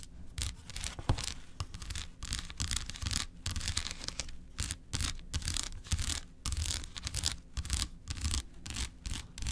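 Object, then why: Milk chocolate bar. Long acrylic nails scratch and tap quickly across the segmented surface of a large, unwrapped solid milk chocolate bar lying on a white paper plate. Rapid bursts of bright, bristly scraping alternate with short pauses, over soft low taps with a dull hum beneath.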